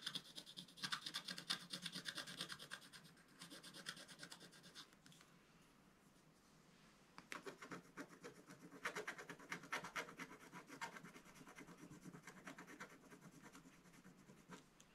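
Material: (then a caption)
Coated paper. A wooden stylus scratches the black layer near the top of a scratch-art page in a spiral book lying flat. Quick, bright, dry scratching strokes come in rapid bursts, fade to near silence for about two seconds midway, then resume in a steady rasping rhythm.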